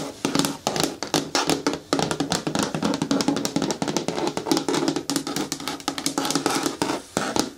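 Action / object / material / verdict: tap / hard plastic caddy bin with lid / plastic / none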